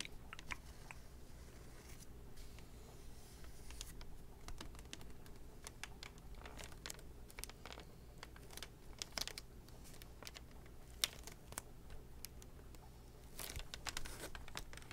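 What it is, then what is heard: Plastic VHS clamshell case. A Disney VHS tape in a hand-sized plastic clamshell case, with a printed cover under a clear sleeve, is held upright in both hands and tapped on the back cover with fingertips and manicured nails. It gives a quiet, steady stream of quick, dry, bright clicks that stop almost instantly, over a constant low hum.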